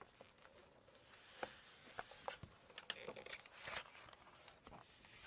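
Fingertips and long nails rub and scratch across the glossy paper pages of a large open Chinese cookbook, then turn a page. Soft, bright rustling and scraping is broken up by short, sharp ticks and crinkles that die away instantly, with a louder papery swish near the end.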